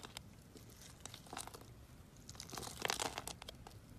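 A box-cutter blade cuts through a solid pink bar of soap scored in a grid, so small cubes crumble off. Quiet, crisp crunching and crumbling crackles come in irregular bursts, bright and dry with almost no ring, growing densest and loudest around the three-second mark.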